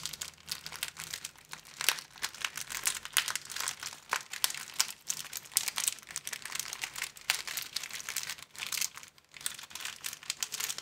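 An empty, thin clear plastic film sleeve strip is bent with the fingers, then folded into a small square and crinkled. Dense, bright crackling pops with sharp, dry edges come in quick, uneven bursts, with almost no low end.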